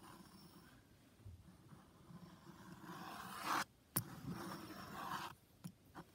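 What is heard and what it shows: A blue metal drawing compass is rotated over a white paper sheet covered in overlapping pencil circles, its lead tip scraping and scratching the paper while drawing. Soft, continuous scratchy strokes build to a louder rasp, broken by three short, sharp ticks.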